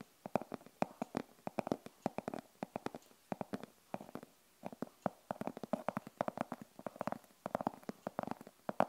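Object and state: Fabric-covered hard glasses case.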